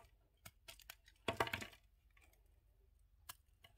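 A yellow utility knife blade shaves the remaining red coating off a palm-sized, solid red-and-white bar of soap held in hand, exposing the white soap underneath. Short, dry scraping cuts and crisp crackles come first, then a denser, louder burst of shaving in the middle. A few brief, bright scrapes follow in a quiet close.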